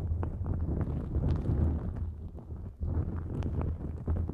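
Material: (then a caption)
Nonwoven fabric. Long nails scratch a thin, flexible pink-white nonwoven fabric drawstring pouch stretched over the microphone. The result is a dense, muffled rubbing and rustling with a heavy low rumble and little brightness. There is a brief lull near the three-second mark before the scratching picks back up.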